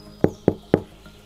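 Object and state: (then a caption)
Bread loaf, baked through (sounds hollow). A home-made bread loaf, just taken out of the Dutch oven, is knocked three times to check that it is baked through. Each knock is a short, dull, hollow thud centered low around 380 Hz that dies away almost at once. The hollow sound shows the loaf is done.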